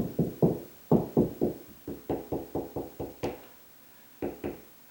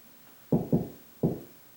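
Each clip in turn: First: drywall ceiling solid over joist. Second: hollow drywall ceiling between joists.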